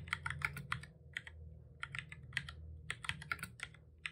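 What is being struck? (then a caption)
Plastic computer keyboard. Both hands type steadily with their fingertips on a full-size, hollow-bodied black plastic computer keyboard resting on a desk. The result is a quick run of short, sharp key clicks with a bright, clattery tone around 2 kHz, over a low, steady background rumble.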